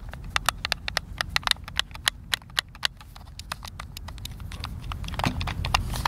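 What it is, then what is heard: Plastic game controller buttons clicking. A white, hand-sized, hollow plastic Xbox controller is held in both hands while fingertips and thumbs press and click its buttons. A rapid series of sharp, bright, dry clicks stops instantly with no ring. A low rumble sits underneath and grows louder toward the end.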